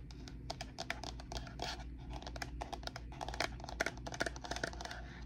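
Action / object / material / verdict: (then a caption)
tap / ceramic bowl / ceramic / none. Long painted nails tap and scratch the outside and rim of a medium white ceramic bowl, hollow and empty and held in both hands, then move to its underside as the bowl is tilted. Quick, bright clicking taps with a very short ring mix with scratchy rasps over a steady low hum.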